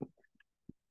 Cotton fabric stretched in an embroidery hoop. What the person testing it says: when you give it a tap and it sounds like a drum so you want to make sure it's nice and taut